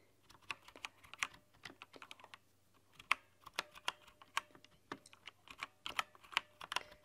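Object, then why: Plastic mechanical keyboard. Continuous typing with long nails on a backlit mechanical keyboard with white plastic keycaps. There are about 23 sharp, bright clicks in uneven bursts, each dying away almost at once. A faint low hum runs underneath.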